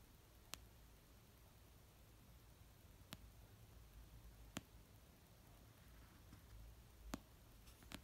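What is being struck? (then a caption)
Paperback book, paper. Nails and fingertips slowly tap an orange paperback novel of solid paper resting on a fluffy blanket. Five short, sharp, bright taps fall at uneven intervals over a quiet, low background hum, each dying away almost at once.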